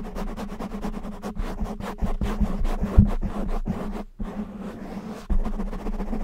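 Fingertips and short nails, mostly with both hands, scratch a black foam windscreen covering a microphone. The result is a fast run of rough, muffled scratching bursts, heavy in the low end, over a steady low hum. The scratching pauses briefly around four seconds, then resumes with a louder stroke near five seconds.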